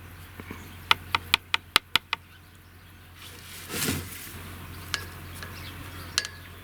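A handmade clay ball, dried in the shade for a week, is knocked as a strength test, giving a quick run of seven sharp, bright clicks with almost no ring. A brief soft rustling swell and a couple of lighter taps follow. The ball sounds good and shows no cracks.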